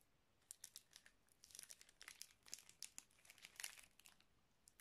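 A small clear plastic zip-lock bag with red stripes near the seal, filled with small colourful items, is squeezed and crinkled by the fingertips of both hands. It gives quiet, bright, crackly crinkling in quick irregular bursts, with sharp snaps that die away almost at once and almost no low end.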